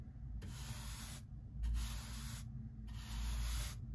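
A hand-held bristle brush is swept back and forth across the rough surface of a solid pine lumber beam on the front of a workbench. Three bright, hissy scrubbing strokes are heard, each lasting just under a second, over a steady low hum.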